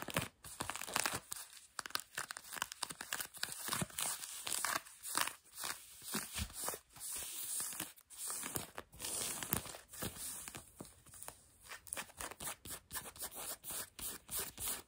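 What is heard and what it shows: Long nails scratch light blue denim jeans stretched over a knee, making a steady run of short, bright, rasping strokes. The scratches come in quick, closely spaced bursts with a papery, crinkling texture that is strongest in the high range and thin in the low end.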